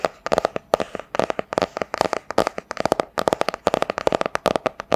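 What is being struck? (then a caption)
Hardcover book with cardboard cover. A medium hardcover book with a solid cardboard cover, printed grey-blue with a silver floral pattern, is held upright and tapped with long dark-painted nails. About thirty quick, dry, clicky taps come in uneven bursts, with a hollow knock centred around 630 Hz and almost no ring after each hit.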